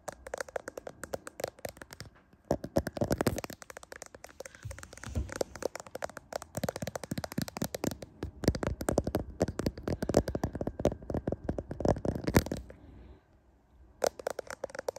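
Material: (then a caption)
Glass. Fingernails tap and scratch the rear camera lenses of a handheld smartphone with a glass back and metal frame. Dense, rapid clicks and dry scratchy ticks come in uneven bursts, briefly drop to near silence before the end, then resume.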